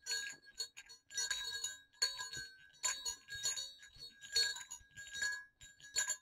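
Two small hollow silver metal jingle bells on a cord are moved together and clinked against each other. This produces bright, high, glassy dings and jingles in irregular bursts, each fading quickly, over a faint steady ringing tone.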